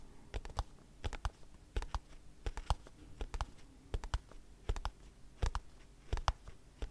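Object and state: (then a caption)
Cardboard box tapped with nails. Long nails tap and scratch a small white cardboard product box with a hanging tab. Sharp, dry clicks come in irregular clusters over seven seconds, with faint scratching between them. Each tap dies away almost instantly.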